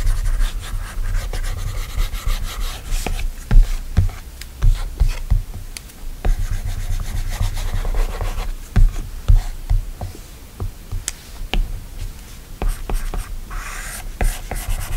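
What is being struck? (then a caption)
Glass tablet screen with plastic stylus. A plastic Apple Pencil tip scratches and taps across the flat, solid glass screen of an iPad during drawing strokes, while fingertips swipe the glass. Soft rubbing and scratching strokes are broken by sharp, short taps with dull low thumps underneath.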